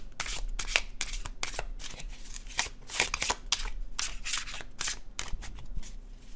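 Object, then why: Paper cardstock tarot card deck. An illustrated paper cardstock tarot deck is overhand shuffled in hand, producing a quick run of soft, crisp papery slaps and flicks. The bright, short rustling bursts come in uneven clusters over a quiet, low background, with no ringing after each one.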